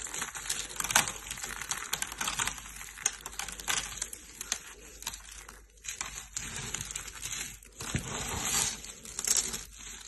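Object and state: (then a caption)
Dry, brittle soap flakes. Brittle, solid flakes of yellow dry soap shavings are squeezed and crushed in hands with painted nails. The result is a dense, bright, crunchy crackling that runs nearly nonstop, with a few brief quieter gaps and louder bursts of crunching.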